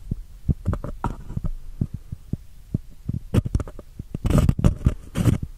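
Long painted nails scratch and rub the sides of a small, empty, white embossed paper cup turned over the microphone. The result is a string of short, muffled, boomy thuds with a low hum-like body, broken by brief bursts of brighter, hissy scraping toward the end.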